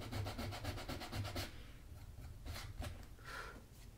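A small piece of sandpaper is rubbed along the edge of the solid leather sole of a black leather Magnanni double monk-strap dress shoe, held upright by hand with a shoe tree inside. Quick, rhythmic, raspy scratching strokes fill the first second and a half, then give way to slower, scattered scrapes.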